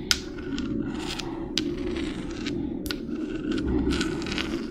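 Long red nails scrape and scratch a small, hollow, white spiky spiral seashell with brown spots. Dry, raspy scratching strokes are broken by a few sharp, bright clicks as the nails catch on the spikes, over a steady low hum.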